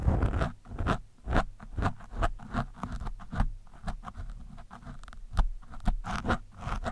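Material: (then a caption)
Foam. A thin metal screwdriver scrapes across an orange foam windscreen on a microphone. The scratchy strokes come in quick, irregular bursts, each a brief rasp with bright crackle over a heavy, close, low-pitched rumble. The strokes die away quickly between bursts.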